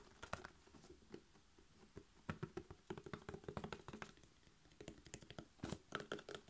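A hollow, roughly 1-liter Mragowska maślanka buttermilk drink carton of laminated paperboard with a blue plastic screw cap, its fill not visible, is held in one hand and tapped quickly with the fingertips and short nails of the other hand along its sides and near the cap. The result is rapid bursts of short, dull, hollow taps and soft thunks with brief clicky nail edges, each dying out almost instantly, separated by quieter pauses.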